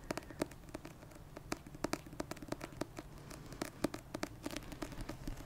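A dark paperback novel, "56 Days," a solid paper block with a glossy card cover held beside the mic, is tapped with long red-painted nails. The result is a quick, irregular run of short, dry taps, each with a mid-pitched knock around 300 Hz, a bright click on top and almost no ring.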